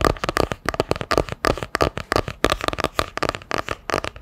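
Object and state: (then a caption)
Hardcover book with cardboard cover. A solid hardcover book with a printed cardboard cover, held sideways, is tapped with long nails in a quick, uneven run of taps. Each tap is a short, dry, hollow click with a mid-range body and almost no ring, fading instantly between strikes.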